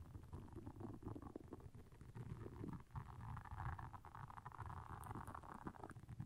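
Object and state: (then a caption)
Silicone scrubber pad. Long nails scratch across the soft bristles of a round, flat, blue solid silicone scrubber pad lying on black fur. The result is a continuous, dense, low rumbling scratch made of many quick, dry flicks, with a brighter raspy layer swelling through the middle of the clip.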